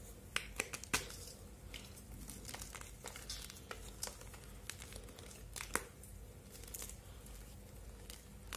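Palm-sized solid blocks of blue-purple dyed gym chalk (magnesium carbonate) are squeezed and crumbled by bare fingertips over a steel bowl of chalk crumbs. The result is quiet, dry, crisp crackling and crunching with a few sharper snaps as the blocks break, and bits fall into the bowl over a faint steady low hum.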